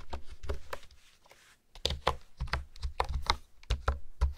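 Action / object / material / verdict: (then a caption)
tap / plastic keyboard keys / plastic / none. Fingertips and nails type and tap on a hollow pink plastic keyboard with hexagonal honeycomb keys, giving quick clicky taps with a soft low thump and a brighter clack. About fourteen keystrokes come in two bursts separated by a brief pause of near silence, each tap dying away almost instantly.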